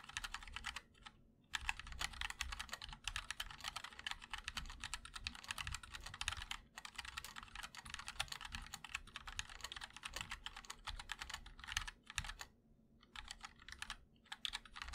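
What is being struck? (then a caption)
Mechanical keyboard, ABS plastic keycaps, aluminium case. Fingertips of both hands type continuously on a 60% MOD-L mechanical keyboard with linear switches, white and black ABS keycaps, and a black aluminum case. Rapid, bright, short clacks run together in dense bursts, broken by brief pauses near the one-second and twelve-second marks.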